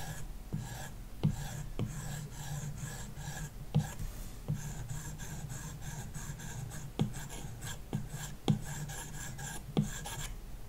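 A plastic stylus tip rubs back and forth across a large iPad glass touchscreen fitted with a matte screen protector while shading a shape. The result is a steady, low rasping scratch with bright hiss overtones, broken by short sharp taps and strokes.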